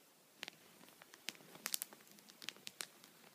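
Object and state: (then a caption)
Plastic sheet protector tapped. The tip of an upright wooden pencil taps a thin, clear plastic sheet protector (punched pocket) lying flat on a towel. There are eleven quiet, sharp, bright ticks with a faint crinkly texture, irregularly spaced. Each cuts off instantly with no ring and almost no low end.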